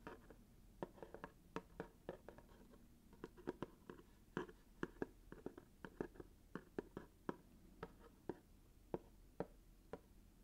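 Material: Cardboard.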